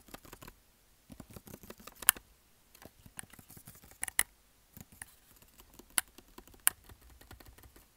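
A closed black plastic Salonia hair straightener, about 30 cm long and hollow, is held in one hand and tapped with the fingertips of the other. The result is a quiet, irregular flurry of light, dry, bright tapping with no ring, broken by a few sharper, louder clicks.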